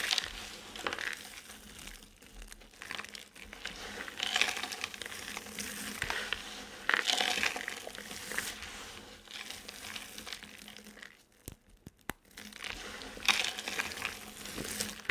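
Hands scoop, squeeze and crumble a heap of dry colored soap chips, letting them fall back onto the pile. Bright, dry crunching and rubbing crackles come in waves of rustling surges, with a short quiet gap near the end before the crumbling resumes.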